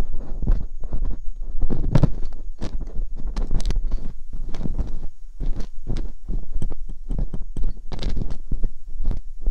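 Metal dental picks scrape inside the ear canals of silicone ear molds on a binaural microphone. Rapid, close-up scratching and clicking strokes follow one another, each with a heavy low thump and brief bright streaks, forming a steady, textured scraping rhythm.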